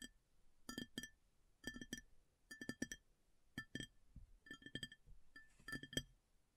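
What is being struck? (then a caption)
Upturned ceramic plate. Long nails tap the flat top of a large, shallow, round white ceramic plate that is upturned and empty. They land in quick bursts of taps separated by short pauses. Each tap gives a bright, glassy clink with a short ring and a steady pitch near 3.2 kHz, with a softer low knock underneath.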